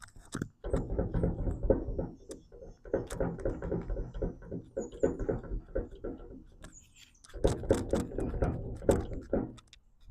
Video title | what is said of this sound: Trailer bearing and drum replacement! Big Tex 50LA | if your hub sounds like this when you shake it back and forth. That should not move at all